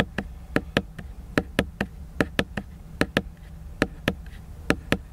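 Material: Cardboard.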